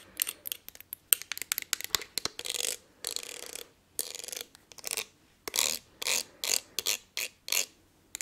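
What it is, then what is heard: Glass perfume bottle. Long nails tap and scratch the ridged surface of a palm-sized, blue textured glass perfume bottle. A run of quick, crisp clicking taps gives way to longer, bright rasping scratch strokes separated by short pauses. The sound is thin and high-pitched with no low end, and each tap dies away almost instantly.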